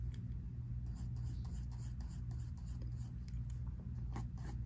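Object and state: Pencil drawing on sketchbook paper.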